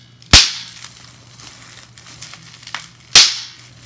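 Fingertips and nails crush a clear plastic bubble wrap sheet with large air bubbles held in both hands. Two sharp, bright pops stand out with quieter plastic crinkles and faint taps between them, each pop fading within a fraction of a second.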